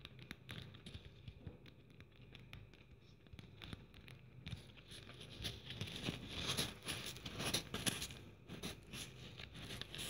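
Long nails scratch a handheld blue glitter-covered Christmas ornament trimmed with plastic pearl bead strands, making dense, dry, crackling scratches and light patter. The scraping is soft at first, then grows louder and brighter about halfway through, peaking in a few sharper bursts before easing slightly.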